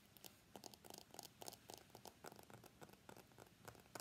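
Fingernails tap and scratch the glass back and the steel frame of a white iPhone X held upright on its edge. Quiet, rapid, irregular clicks come in clusters with bright, crisp edges and a soft scratchy hiss between them. Each tap dies away almost instantly.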